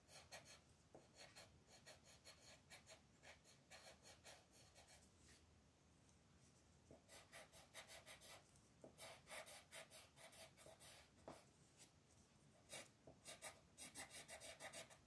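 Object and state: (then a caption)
Colored pencil scratching on a paper page. A green wooden colored pencil, gripped in a fist, is stroked back and forth across a thin paper coloring book page while a second hand with long red nails holds the paper flat. The result is a quiet, bright, scratchy rasping in rapid bursts of strokes, with short pauses between passes.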